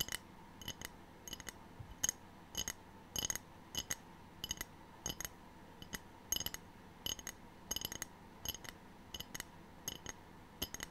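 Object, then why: Ceramic tray. A ceramic tray is tapped in quick, irregular bursts, giving short, bright clinks with a glassy ring that dies away almost at once. The sound is mostly high and thin, with very little low end, over a quiet background.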